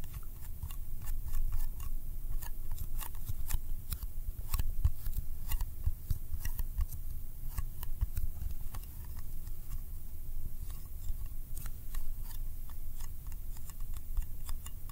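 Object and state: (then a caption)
Metal candy tin. A small, round, yellow metal candy tin is held up and tapped on its lid and rim with fingertips and nails. The result is a steady stream of quick, sharp metallic clicks and ticks that die away almost instantly, over a low, constant rumble.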